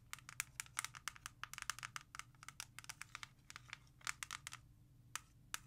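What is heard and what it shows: Long nails tap and scratch quickly on the front cover of a single plastic CD jewel case lying flat on a leather surface. A dense run of sharp, bright clicks with scratchy rustling between them sits over a faint low hum. The taps thin out toward the end, with two last isolated clicks.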